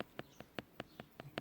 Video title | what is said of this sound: Reebok Graphlite Pro Retro | It's like knocking on plastic. It's super soft